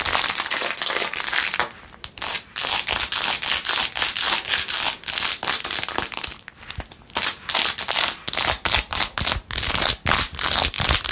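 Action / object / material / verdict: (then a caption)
scrape / plastic phone case covered in acrylic rhinestones / plastic / none. Long acrylic nails scratch and tap fast on a handheld, hollow, empty silver glitter plastic phone case covered in blue acrylic rhinestones with a metal ring holder. The result is a bright, crackly, crinkling scratch sound in rapid, irregular bursts, with short dry clicks and brief gaps between strokes.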